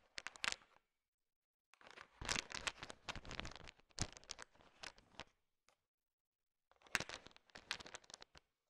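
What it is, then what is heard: Candy-coated chocolates being stirred. A thin wooden stick stirs a large heap of small, solid, colorful sugar-coated M&M chocolate candies. The candies clatter and rattle against each other in three bursts of dense, bright, crisp clicking, separated by short silences.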